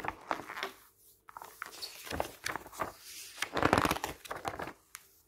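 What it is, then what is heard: Glossy paper magazine. A flat hand and fingertips press, rub, squeeze and turn the pages of an open glossy paper magazine lying on a table. Dry, papery rustling and sharp crinkles come in uneven bursts with brief quiet gaps. The louder crinkles near the end add a brighter, high edge.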